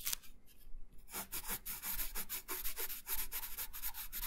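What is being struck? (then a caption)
Wooden coloured pencil on a thin paper sheet over a wooden table. A wooden colored pencil held in the right hand rubs colour in steady strokes onto a thin, solid printed paper coloring sheet lying flat on a wooden table. After a short quiet gap near the start, soft, bright, scratchy rubbing strokes follow one another at an uneven pace.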